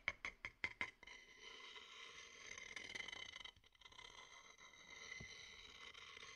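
A wooden stick taps five times inside a medium, dark, hollow, empty wooden bowl held over the mic, each tap a short, bright knock ringing near 2.2 kHz. The stick then scrapes around inside the bowl in a steady, hissy, high rasp that briefly pauses before continuing to the end.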